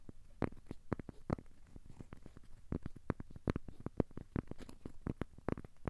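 A thin, solid, square cork coaster held in both hands is scratched and tapped with short fingernails and fingertips. The result is a quiet, irregular stream of soft, dull taps and scratchy clicks, weighted toward the low end with no ring after each hit.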